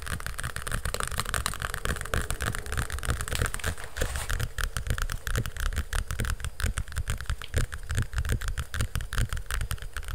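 Fingernails scratch and tap quickly on the cover and spine of a large hardcover cardboard picture book held close to the mic. A steady, dense run of short taps and scratchy strokes carries a heavy low thump under a faint brighter rasp, with no pauses for the whole clip.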